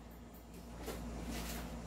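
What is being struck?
Nothing is struck.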